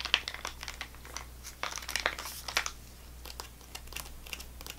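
A full GoGo Squeez apple sauce pouch made of laminated plastic foil, with a plastic spout cap, is rubbed and scratched with fingernails. This produces irregular bursts of bright, dry crinkling and crackling over a steady low hum.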